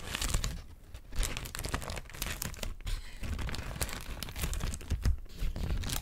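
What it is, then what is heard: Thin crinkled paper sheet. A thin, white, wrinkled sheet of paper is scratched with long nails and crinkled between hands. The result is a steady, dense stream of crackling and crinkling, with louder rustling bursts over a soft low rumble and bright, sharp crackle on top.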